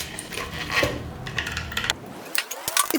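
Light metallic clinks, taps and scraping, bright and short-ringing, as the grip is taken off a USAPA-approved all-aluminum pickleball paddle. The paddle gives a hard, metal-like sound.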